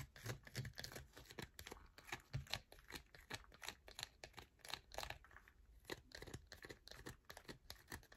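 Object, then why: Soap bar scratched with fingernails. Long nails scratch quickly across the grooved face of a solid yellow bar of soap held in the hand. The result is a soft, continuous run of short, bright rasping strokes with some dull low thumps, each stroke dying away almost at once.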